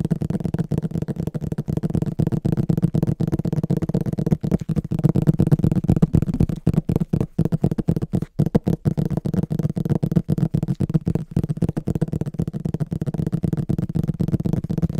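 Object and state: Hardcover book tapped and scratched.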